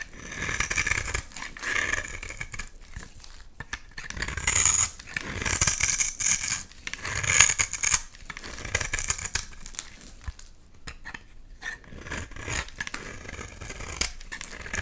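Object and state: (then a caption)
Bar soap being shaved with a blade. A solid rectangular purple bar of soap, held in hand, has curls shaved off its face with a utility knife blade. The result is a series of dry, bright scraping and crinkling strokes, each with a short rasp. A few louder bursts of shaving come through the middle of the clip.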